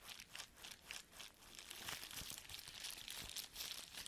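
A sheet of clear, empty plastic bubble wrap held in the hands is squeezed, crinkled and rubbed with the fingers. It gives a quiet, steady run of bright, hissy crinkling with irregular swells and small crackles, mostly in the high range with almost no low end.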